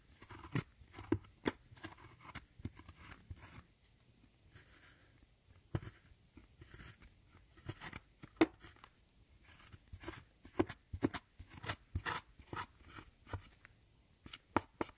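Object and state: Pressed powder eyeshadow being scraped.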